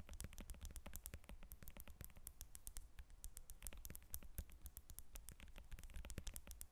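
Long acrylic nails rapidly tap and scratch the rind of a whole yellow lemon resting on a glass table. The result is a quiet, steady stream of short, crisp, bright clicks that die away almost instantly, over a soft low rumble.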